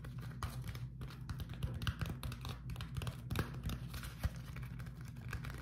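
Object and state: Beeswax-coated cotton food wrap being crumpled.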